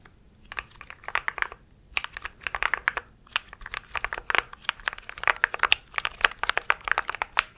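Fingertips of both hands type rapidly on a compact mechanical keyboard with grey and white plastic keycaps. The result is dense bursts of short, sharp, bright clacks with almost no low end, broken by brief pauses before the typing picks up again and grows louder toward the end.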